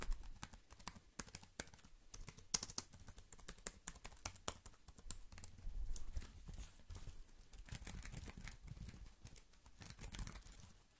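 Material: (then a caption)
Plastic. Fingers tap quickly on the keys and the side of a slim black plastic computer keyboard held upright. The result is a fast, irregular stream of dry, bright clicks with low, hollow thumps underneath. Each tap dies away almost instantly.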